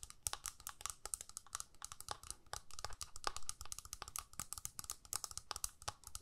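Long nails rapidly tap and scratch the clear plastic lid of a small, flat plastic eyeshadow palette held in the hands. The result is a quick, dense run of short, dry clicks with bright, crisp edges, each dying away almost instantly, with soft scratchy rustling in between.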